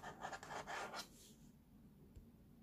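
Fingertips and short nails scratch across the tray of a hollow molded plastic baby walker with a blue rim and green tray front, making a quick run of dry, raspy strokes. After about a second the scratching stops and only a faint, quiet hush with one small tick remains.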